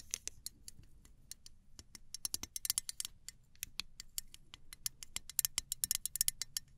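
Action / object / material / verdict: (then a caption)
tap / small aluminium spray bottle with plastic cap / aluminium / none. Fingernails scratch and tap the body and clear plastic cap of a small gold aluminum travel spray bottle. The result is a quick, irregular run of sharp, bright, dry clicks and scrapes with almost no ring, over a faint low hum.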